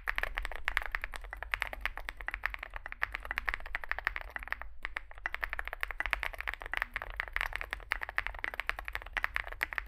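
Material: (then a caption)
Plastic. Fingertips type continuously on a small Zoom65 65% mechanical keyboard with a dark case and white and grey plastic keycaps. Rapid, short, clacky keystrokes centred around 2 kHz run steadily, with a brief pause near the middle and a constant low hum underneath.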